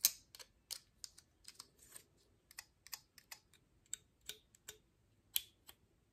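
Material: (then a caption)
Wood. Long fingernails tap and scratch the woody scales of a dry, open pine cone held upright by its base. About fourteen quiet, crisp clicks and brief scrapes ring out at an uneven pace. They are bright and high-pitched, with almost no low end, and each dies away at once.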